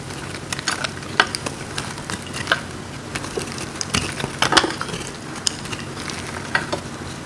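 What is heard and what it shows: A hand-sized block of dry, blue-green marbled soap is held in the hands and carved and crumbled with a metal blade, leaving crunchy flakes. Many short, dry, bright crackles and scrapes sound over a steady crumbly hiss, with a few sharper crunches standing out.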